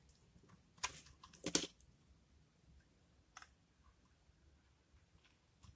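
A metal utility blade shaves and cuts the face of a solid, dry, blue-and-white marbled soap bar held in the hand, sending curled soap shavings falling off. Quiet, bright, dry scraping crunches come in short irregular bursts, the loudest two early on, with very little ring after each.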